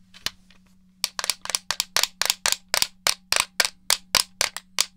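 A hollow black plastic gamepad, held beside a foam head, is tapped with fingernails, giving about 18 sharp, bright clicks that die away almost instantly. After one isolated tap, the rest come in a quick, slightly uneven run over a faint steady low hum.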